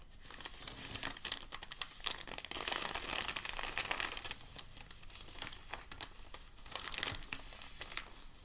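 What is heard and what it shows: A hand crumples the edge of a crinkled white packing paper sheet, then both hands lift the sheet. The result is a dense, bright crinkling and crackling that swells and fades in bursts, with short sharp snaps and almost no low end.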